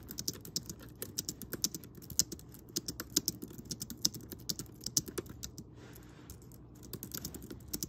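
Fingertips of both hands quickly type on a pink Logitech K380-style plastic wireless keyboard with round keys, which lies on a grey fuzzy blanket. About 37 short, bright, dry clicks and taps come in a fast, uneven stream with a soft low thump under each, and a brief pause near the end before the typing resumes.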